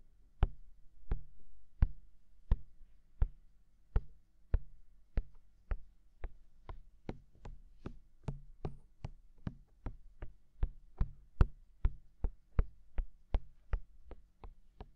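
Fingertips of both hands tap on the two white silicone dummy ears of a black binaural microphone, whose soft rubbery ear surfaces sit over a hollow mic body. About 32 short, dull, low thumps fall in a steady, even rhythm, each dying at once with no ring over a faint low hum.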